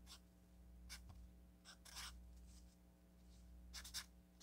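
A felt-tip marker writes on a solid stack of orange paper sticky notes, making short, bright, scratchy strokes separated by pauses. A steady low hum sits underneath the quiet writing throughout.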